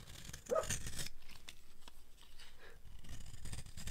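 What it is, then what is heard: Dry soap bar, crunchy when carved. A utility blade carves into a solid, dry, oval green soap bar, making crunchy scraping sounds. A loud burst of scraping comes near the half-second mark, followed by quieter, uneven scraping that builds again toward the end.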